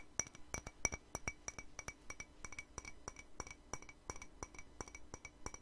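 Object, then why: Ceramic mug. Long nails tap quickly on the rim and body of an empty, hollow white ceramic mug, giving around thirty sharp, bright clinks at a steady, slightly uneven pace. Each tap has a high, glassy ring that dies away almost instantly, with a faint low thud under it.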